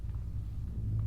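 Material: Nothing is struck.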